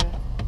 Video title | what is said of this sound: VW T-Cross 1.0 TSI na opinião das mulheres. Tudo sobre a versão automática de R$ 94 mil | bate no painel é plástico puro